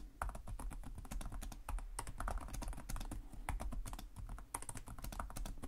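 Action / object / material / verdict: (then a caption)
tap / plastic laptop keyboard keys / plastic / none. Both hands type with their fingertips on the plastic chiclet keys of a black laptop keyboard. A steady run of quick, light clicks and taps follows, each with a soft low thump and a brief bright tick that dies away almost at once.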